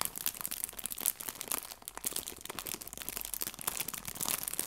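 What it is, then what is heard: Plastic bag of fabric leaves. A small, clear, thin plastic bag full of fake fabric leaves is crinkled between the fingertips and nails of both hands. It makes a steady, dense stream of bright, crackly crinkles with almost no low end. The sound stays fairly quiet, with short sharp peaks that die away at once.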